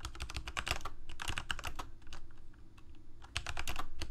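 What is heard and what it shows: Fingertips of both hands type on a Corsair K68 full-size mechanical keyboard with plastic keycaps, Cherry MX Red switches and a backlight, resting on a desk. Rapid, irregular key clacks pair a low thock with a bright click. A flurry at the start slows into softer scattered taps, then picks back up into a steady, loud run at the end.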